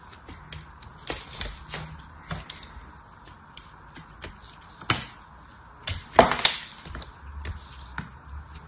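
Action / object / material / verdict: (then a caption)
scrape / bar of painted soap cut with a metal blade / soap / none. A hand-sized bar of dried soap coated in silver paint is held in one hand and cut and scraped with a small metal blade, breaking pieces off its edge. Short, dry, bright cracks and crunchy scrapes come at an irregular pace, each dying away almost instantly, with the loudest burst of snapping near the end.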